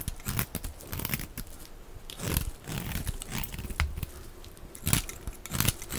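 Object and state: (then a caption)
Bar of dry soap being shaved with a knife. A utility knife blade scrapes and shaves thin flakes off the edges of a hand-sized, solid rectangular block of dry white soap held in the hand. The result is a run of dry scratching, crunchy cutting strokes with bright, crackly edges over a low, muffled body, with a few louder shaves standing out.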